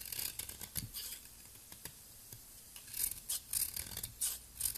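A palm-sized, solid, round blue soap ball held in the fingers is scraped with a metal utility blade, shaving off powdery flakes. Quiet, bright, crisp scraping strokes come in short bursts, with a brief lull in the middle before a quicker run of strokes.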